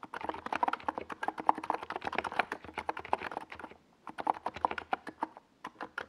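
Fingertips type rapidly on a compact NiZ Plum Atom 68 mechanical keyboard with a white plastic hollow case and purple Domikey Gas Attack SA plastic keycaps. The result is a fast stream of short, dry, mid-pitched plastic clacks that stop ringing almost instantly. There is a brief pause just before the four-second mark, and then the typing resumes.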